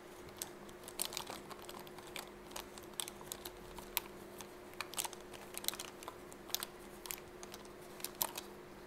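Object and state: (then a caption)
Fabric pencil case. Fingertips and nails tap and scratch along the surface of a soft, elongated yellow fabric zip pencil case with a smiley-face print, held in both hands. The result is a quick, irregular run of short, bright, dry taps and scratchy rustles that stop almost instantly, much like typing, over a faint steady hum.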